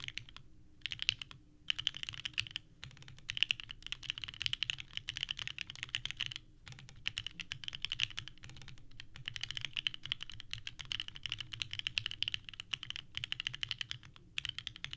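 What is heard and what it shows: Fingertips type steadily on a purple-cased 65% mechanical keyboard with white plastic keycaps. A fast, continuous run of bright, sharp clacks with almost no ring is heard, broken by a few brief pauses.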